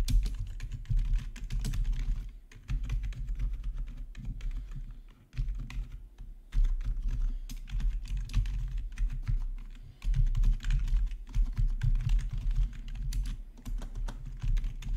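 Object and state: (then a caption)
Plastic keyboard being typed on. Fingertips type quickly on a black plastic RGB backlit gaming keyboard, with the right hand moving across the keys. The result is a dense, steady stream of short, dull key clacks with a low, thumpy body. The typing comes in bursts, with brief pauses around 2.5, 5.3, 6.5 and 10 seconds.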